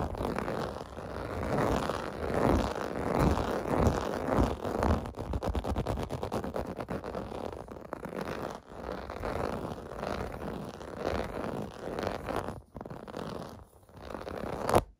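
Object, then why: Textured plastic bath mat. Fingertips and nails scratch the raised bubble texture of a large, flat, clear-blue plastic or vinyl bath mat lying on carpet. The result is a steady, uneven rasping and scraping, full and low-mid in tone, with dense quick strokes and a few brief pauses.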